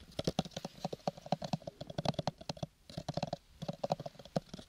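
Fingertips and nails rapidly tap and scratch a small, hollow, square purple gift box made of cardboard covered in linen-textured paper. The box answers with dense, dry, hollow thuds centered low around 176 Hz, each one stopping almost instantly and topped with faint bright clicks. The flurry of taps pauses briefly just before the third second, then resumes.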